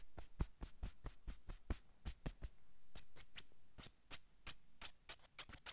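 Palms brush a navy cotton sweatshirt on a man's shoulders, then long nails scratch the fabric. Soft, dull brushing strokes with low thumps come first, followed by quick, bright, rasping scratches. The strokes are short and quiet, with no ringing after each one.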